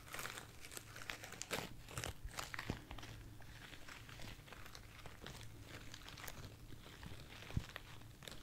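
A light, soft bunch of white artificial foam roses, held in the hand, is scratched and rubbed with long nails and fingertips. The result is a quiet, continuous crinkling and scratching with many small, dry bursts of bright texture over a faint low hum. The sound stays soft throughout, with a few slightly sharper scrapes.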